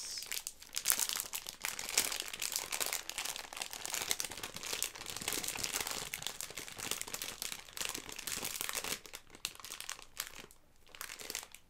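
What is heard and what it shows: A Haribo Starmix bag made of plastic film, full of gummy sweets, is squeezed, crinkled and shaken by hands with long red nails. The result is a dense, continuous, bright crackling and rustling, with faint thuds of the sweets shifting inside and brief pauses near the end.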